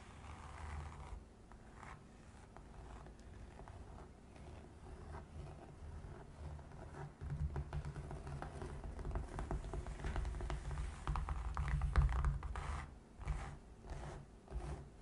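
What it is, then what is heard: Felt-covered box. Long red fingernail tips tap and scratch the fabric surface of a gray felt-covered box. Soft, muffled scratches and irregular patters sit over a low, dull rumble, with little brightness. The sound swells gradually, peaks around the twelve-second mark, then breaks into a few separate taps before fading.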